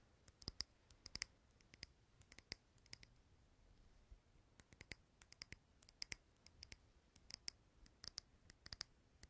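A lit candle in a small clear glass jar filled with green wax is held in the hand close to the recorder and tapped on the glass with fingernails. The sound is quick, bright, clicky ticks that stop almost instantly, coming in irregular bursts and clusters. It is quiet overall, with very little low end under a soft hiss.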